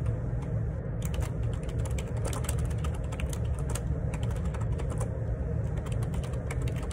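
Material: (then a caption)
Plastic. Fingertips type on a black plastic Perixx Periboard 612 wireless Bluetooth dual ergonomic split keyboard, with a hollow housing and plastic keycaps, resting on a desk. A rapid, continuous run of soft key taps and light clicks sits over a steady low hum centered around 109 Hz that carries most of the sound's energy.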